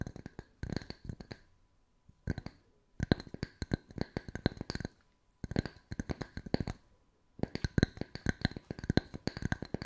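Two matching small, round, solid wooden tree-slice coasters with bark rims are held one in each hand and tapped and scratched on their pale faces with long white nails. Rapid bursts of short, dry clicking taps, each a low woody knock with a bright edge, come in clusters separated by brief pauses, with no ring after each hit.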